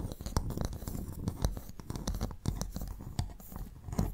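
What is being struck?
Empty freshwater mussel shell halves.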